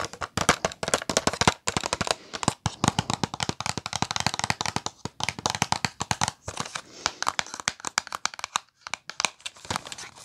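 Long nails tap and scratch a small, flat Kiss press-on nails package made of cardboard backing with a plastic blister. The result is a rapid, dense stream of dry, bright clicks and crinkly scratches, with very short decay and brief pauses between bursts.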